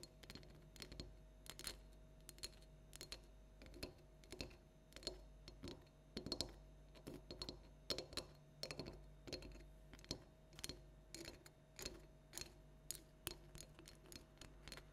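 A small hollow plastic light-up toy jack-o'-lantern pumpkin standing on a table is tapped rhythmically with long nail tips. The result is a steady series of sharp, bright, hollow clicks that die away almost instantly, over a faint low hum.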